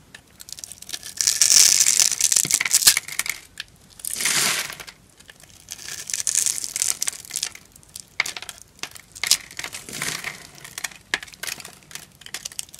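A green rectangular bar of dry, solid soap held in the hand is scored into a grid with a small knife blade, and crumbly cubes are cut off it. Bright, dry crunching and scraping crackles come in dense bursts, with a few longer hissing scrapes, and very little low end.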